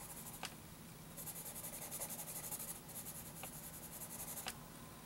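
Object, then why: Graphite pencil on a paper sheet. A sharpened wooden graphite pencil rubs dense shading onto a flat sheet of graph paper while the hand rests on the sheet. It makes a quiet, steady scratchy rasp with bright, rhythmic bursts of hiss from the back-and-forth strokes. Three faint, sharp ticks stand out along the way.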